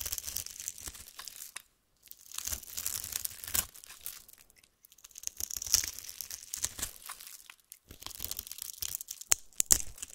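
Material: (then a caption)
Soap. A utility-knife blade cuts a grid into a solid, translucent yellow oval soap bar held in the hand and scrapes small cubes off its surface. Dense, bright, crisp crackling and scraping comes in several bursts separated by brief pauses, with quick clicks as the cubes break away.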